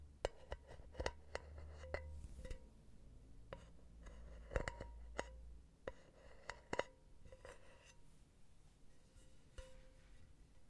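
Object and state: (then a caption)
Metal mesh pen holder. A long painted nail taps the solid round metal bottom of an empty silver mesh pen holder with small rubber feet, producing sixteen short, sharp metallic ticks. Each tap gives a brief ringing ping at about 500 Hz over a quiet low hum, with irregular pauses between them.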